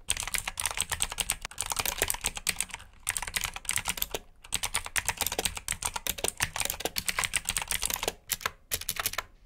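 Fingertips type on a black backlit plastic mechanical keyboard with blue switches, producing a rapid stream of bright, sharp clicks. The clicks are short and crisp, with brief pauses between bursts of typing.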